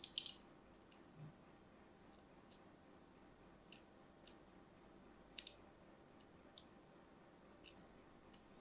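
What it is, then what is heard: Soap bar scratched with a blade. A thin metal blade scratches lines into the surface of an orange and white striped solid soap bar held in the hand. A quick cluster of bright, crisp scraping bursts opens the clip. It is followed by sparse, short, high clicks spread over the quiet remainder.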